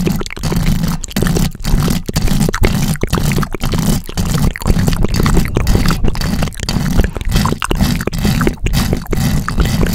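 Long decorated acrylic nails rapidly scratch across the top of the round metal mesh grille on a large pink microphone. The result is a dense, continuous run of close, low, rumbling scratching bursts with only brief dips between strokes and little high-end content.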